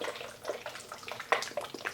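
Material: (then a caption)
Watery liquid. A bottle of Tarte Hydroflex Serum Foundation is shaken by hand, and the watery liquid inside sloshes back and forth. The sound is a quick run of soft, wet splashes centred in the midrange, with a few sharper, brighter slaps. The sloshing is normal: water is one of the foundation's main ingredients, so it needs to be shaken well before use.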